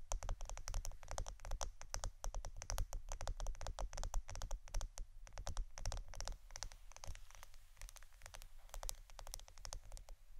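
A roll of plastic adhesive tape is tapped and scratched with a rapid, continuous patter of short, dry clicks. Each click is brief with almost no ring, and a steady low hum sits underneath. The taps run close together throughout at a soft, even level.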